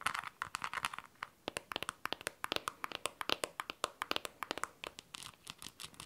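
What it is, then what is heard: Smartphone tapped with fingernails. Long teal nails tap and scratch the back and screen side of a handheld blue smartphone. About forty quick, dry, bright clicks follow one another, with brief crinkly scratching between them and almost no low end.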